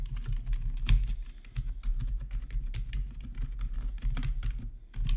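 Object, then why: Plastic computer keyboard. Both hands type with their fingertips on a black plastic RGB backlit gaming keyboard, producing a fast, uneven run of short keystroke clicks. Each tap is dry and brief, over a low, thumpy body, with a few brighter key clacks standing out.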